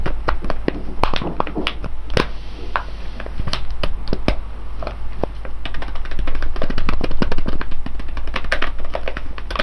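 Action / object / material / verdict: tap / foil coffee bag of coffee beans / foil / none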